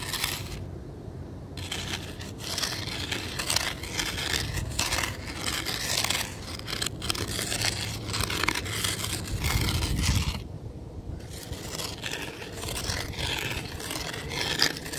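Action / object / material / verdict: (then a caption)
scrape / fine gravel and sand ground / gravel / none. The tip of a weathered wooden stick scrapes back and forth across a ground of fine gravel and sand. The result is a steady gritty, crackling scrape, bright and broad with a low rumble underneath. The strokes run almost continuously, with short pauses near the start and around the ten-second mark.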